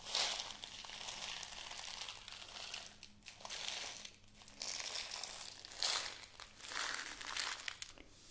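A small clear plastic bag with a white cardboard header, full of pink glass beads, is held close and crinkled and shaken with fingertips and long nails. Bright, dense crinkling and rattling rise and fall in bursts across the clip, with little low end.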